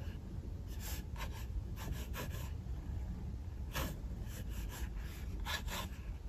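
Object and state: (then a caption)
Pencil scratching on a paper sketchbook page. A mechanical pencil draws lines on the white paper page of an open sketchbook, making light scratching strokes. Soft, bright, brushy bursts of scratching come and go over a steady low rumble that dominates the quiet clip.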